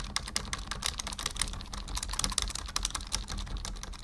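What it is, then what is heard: Plastic computer keyboard. Fingertips, mostly from one hand, type on a black full-size plastic membrane keyboard resting on a wooden desk. The result is a steady run of quick, dry, bright clicks with a soft low thump under them. Each click dies away almost instantly.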